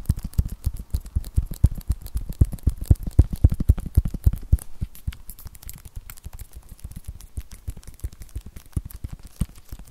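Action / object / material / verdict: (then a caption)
tap / tablet with glass screen and plastic protective film / glass / none. Long nails and fingertips rapidly tap and scratch along the front of an iPad (8th generation, 2020), across its glass screen, which still has its protective plastic film on, and its white bezel; the thin, solid tablet, about 25 cm tall, is held upright. The quick, irregular clicks are short and dry with a dull low thump, louder through the first half and then softer and lighter after about five seconds.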